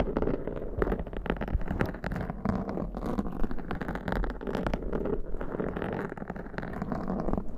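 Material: Foam.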